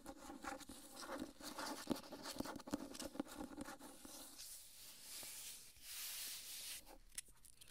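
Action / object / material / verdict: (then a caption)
tap / hardcover book with paper dust jacket / paper, cardboard / none. Long nails scratch and tap the spine and front cover of a solid, medium-large hardcover copy of "The Water Dancer" in a dark paper dust jacket. The first half has dense, quick scratching with sharp taps mixed in. It then thins to a softer, airy hiss and ends with a few isolated clicks.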